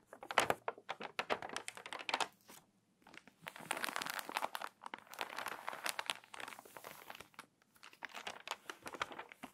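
Pages of a crinkly, water-damaged paper magazine are turned, then long nails scratch across the spread. Dense bursts of dry crinkling and brisk, bright scratching come in short flurries separated by brief silences.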